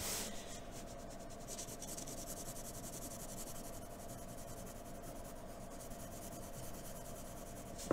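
A graphite pencil held in a blue extender makes short, quick strokes across a sheet of white drawing paper. The result is a steady, soft scratchy rasp with bright hiss, ending in a sharp click.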